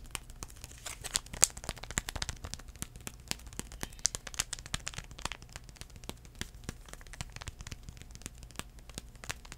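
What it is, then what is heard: Foil-paper wipe packet being crinkled. Fingertips scratch and crinkle a small sealed United CleanPlus foil-paper sanitizing wipe packet, producing a dense run of quiet, bright crackles and sharp, dry clicks. The clicks are very short with almost no ring, over a faint steady low hum.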